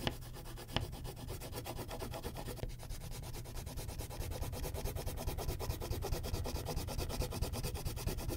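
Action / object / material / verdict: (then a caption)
scrape / wax crayon on a paper sheet over a clipboard / wax, paper / none. A purple wax crayon shades the background of a thin white paper coloring sheet on a clipboard in broad strokes. The result is a steady run of quick, soft rubbing and scratching strokes, heavy in the low end, with a faint papery hiss throughout. It grows slightly louder and denser after the first few seconds, with a brief sharp tick near the start.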